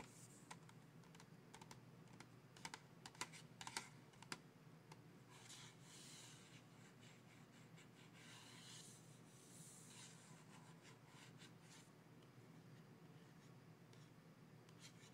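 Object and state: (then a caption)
Cardboard colored pencil box. A small printed cardboard Crayola colored pencil box, full of pencils and lying in a plastic bin, is tapped and scratched with fingertips and nails. Quiet, sharp clicks and taps come at an uneven pace. Soft, bright scratching swells in between over a low steady hum.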